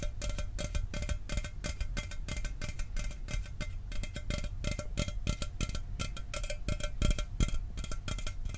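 A sealed, hollow 12 oz Mountain Dew aluminum soda can is held up and tapped rapidly with fingernails. The clip is a dense, steady stream of short, bright metallic clicks over a low, heavy rumble, with a faint ringing tone running underneath.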